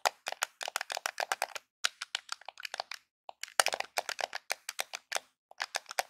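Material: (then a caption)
Plastic. Fingertips and nails tap and scratch the top edge of a small, hollow, grey Nintendo plastic game controller held edge-on. The result is rapid bursts of short, dry, clicky taps with a bright, crackly edge and almost no ring, centered around 760 Hz with no low end. Brief pauses break up the bursts.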